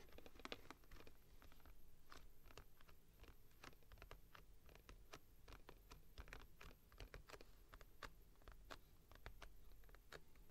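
Long painted nails tap and scratch the front and back panels of a hollow, open-topped printed cardboard squishy toy box held upright in both hands. The result is a quiet, steady stream of quick, dry clicks and brief scratches over a low rumbling background.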